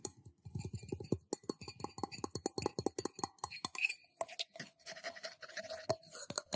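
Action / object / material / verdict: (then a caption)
tap / small stainless steel cup / stainless steel / none. Fingertips and nails tap quickly on the outer wall of a small, empty, hollow stainless steel cup held in one hand. The result is a rapid run of short, dry taps with a soft low thump and bright metallic clicks, each dying away almost at once. In the second half, a faint steady metallic tone hangs under the tapping.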